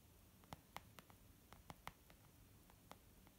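Fingertips tap on a leather makeup bag, making about nine soft, short taps at an uneven pace. Each tap is a dull, muted knock centered in the mids, dying away almost instantly over a faint steady hiss.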